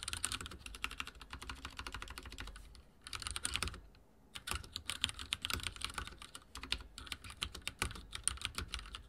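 Fingertips of both hands type rapidly on a backlit mechanical keyboard with dark plastic keycaps and a silver frame, resting on a wooden desk. Dense, bright, clicky keystrokes come in quick bursts over a low thud, with brief pauses near 3 and 4 seconds before the typing resumes steadily.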